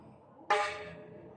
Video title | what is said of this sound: Maingay na HUBS magkaiba tunog - HASSNS PRO 7 HUB #tunogmayaman | Ito yung tunog ng rayos na stainless.